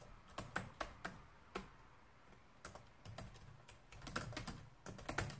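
Fingertips and nails type quickly with both hands on a black plastic laptop keyboard resting on a desk. The result is a quiet, uneven run of sharp, bright plastic clicks over a soft low thump, each dying away quickly, with brief pauses between bursts.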